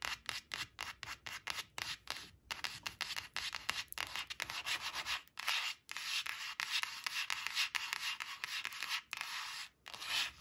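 Long acrylic nails rub and scratch quickly across a thin, flat laminated cardboard flash card printed "5 five," resting on a fabric surface. It makes a rapid run of short, bright, scratchy strokes with a dry, hissing texture, almost no low end, and brief gaps between strokes.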